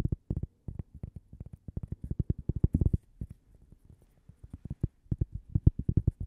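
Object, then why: Thin cork coaster. Long painted fingernails rapidly tap and scratch a single small, flat, toaster-shaped cork coaster that is solid and thin and held in one hand. About three dozen soft, dull, low taps come in quick uneven bursts, each dying instantly with no ring, with a brief quieter stretch in the middle. The result is a muffled, thumpy patter with no bright edge.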